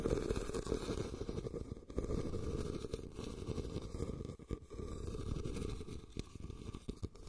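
A red, medium-size woven rattan basket, hollow and empty, is set upside down over the recorder and scratched and tapped with fingertips and short nails. The result is a dense, continuous low rustling scratch with soft, quick taps mixed in, booming and muffled inside the hollow shape. There is almost no bright top end, and the level dips briefly now and then before the scratching resumes.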